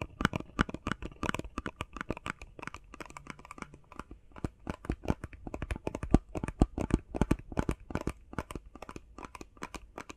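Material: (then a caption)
Cardboard. Fingers tap rapidly on a face mask box made of plastic and cardboard. The result is a steady, dense stream of short, dry taps with little ring: dull low-heavy thuds topped by faint bright, crinkly clicks.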